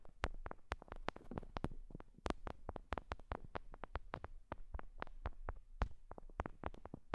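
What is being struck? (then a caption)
Binaural microphone with silicone ear hooks. Long nails and fingertips tap and touch two small ear-style binaural microphones with clear silicone ear hooks directly. The result is a rapid, uneven string of short, dry, close-up taps and thumps, heavy in low frequencies with almost no ring.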